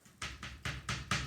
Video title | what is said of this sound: May 12th "Clay Pinch Pots" | on my mat, I tap it. Can you hear that? I've tapped it and I have a flat bottom